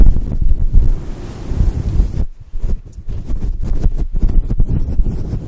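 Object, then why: Synthetic fur microphone windscreen. Long acrylic nails scratch and rub a fluffy grey and white synthetic fur windscreen covering a microphone. The result is a muffled, low rumbling and buffeting, almost entirely deep bass with no brightness, swelling and dipping unevenly like wind hitting the microphone.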